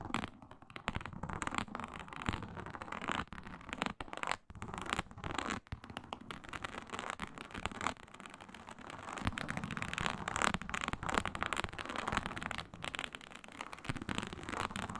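Long nails scratch with both hands across a flat, iridescent, embossed faux snakeskin synthetic leather mat with a reptile pattern. The result is a continuous, dense rasping scratch with rapid short strokes that shift between softer and harder, louder passages.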